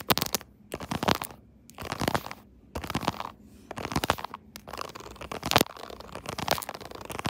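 Long nails tap and scratch the raised keyboard keys molded into a soft pink silicone case on a smartphone held in a tripod holder. Bursts of rapid, dry clicking and crackly scratching come in short clusters separated by brief quiet pauses, with bright, crisp edges.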